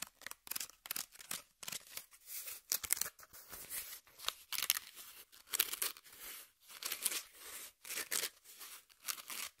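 Long nails scratch and pick at the top surface and edge of a brown corrugated cardboard piece held flat. The result is a rapid run of short, dry scraping and crinkly tearing bursts with brief gaps between them. The sound is bright and papery, with almost no low end.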